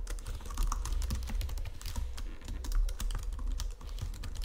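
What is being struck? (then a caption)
Plastic computer keyboard. Fingertips and nails type rapidly on a white plastic Logitech keyboard resting on marble. The result is a dense stream of short, bright plastic clicks and taps over a steady low hum.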